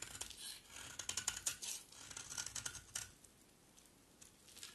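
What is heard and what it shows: A utility knife blade pressed flat against the face of a solid green bar of dry soap scrapes off crumbly curls. The result is a quick run of dry, bright, crackling scrapes for about three seconds, after which the scraping fades to faint ticks.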